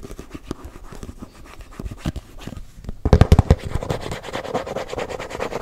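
Fingertips and nails tap and scratch the side and lid of a closed, round, hand-sized body-butter tub, likely plastic. Soft, dull taps and light scratching patter along for about three seconds, then a burst of louder, thumping taps breaks in. A steadier run of quick scratching and tapping follows, each hit short and low with almost no ring.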